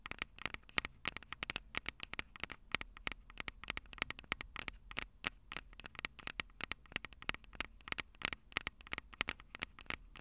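Long purple acrylic nails tap rapidly and directly on the two small hollow metal microphone capsules of a Tascam DR-05 recorder. The result is a dense stream of sharp, dry clicks with a bright metallic tick around 2.1 kHz, each dying away almost instantly over a faint low hum.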